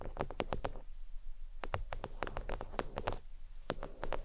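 Fingernails tap across a thin, flat, red stitched faux leather oval desk mat resting on a towel. The taps are quick, dry, and clicky, coming in irregular bursts with brief pauses between runs. Each tap dies away almost instantly, with a muted, low-weighted thud underneath.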